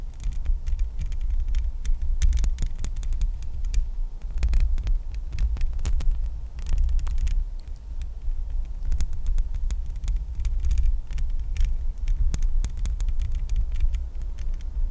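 Long nails tap and scratch the bare, hollow metal mesh grille of a microphone. A dense, throbbing low rumble with steady thumps runs throughout, overlaid by sharp, bright clicks and scratchy ticks.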